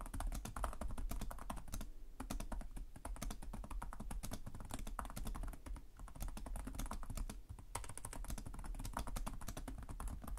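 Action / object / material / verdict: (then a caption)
tap / plastic laptop keyboard / plastic / none. Both hands type rapidly with fingertip taps on the plastic chiclet keys of a black laptop keyboard. A dense, steady stream of short, dry clicks and taps continues throughout, with brief lulls near 2, 6 and 7.5 seconds.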